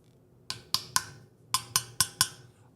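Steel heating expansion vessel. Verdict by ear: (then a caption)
Hollow. Fingers tap seven times on a large metal heating and hot-water expansion vessel, each tap a short, bright, hollow knock. The hollow sound shows the vessel is full of air and has not failed.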